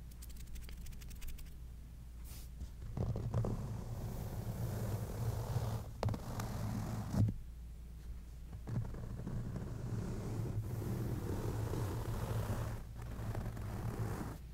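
Fingertips or nails slowly scratch across the soft blue microsuede or velvet-like upholstery on the top of a large padded ottoman, leaving visible parallel trails in the nap. The sound is a quiet, low, muffled scratching and rustling, with a steady low hum beneath it and a few brief, slightly louder swipes.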